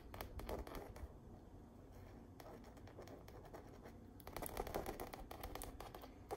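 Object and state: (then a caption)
Stretched canvas print. Long nails scratch and tap rapidly across the painted texture of an autumn stretched canvas wall art print. Dense, dry scratching bursts come in quick clusters, easing into a softer, steadier rub in the middle before growing louder and busier again near the end.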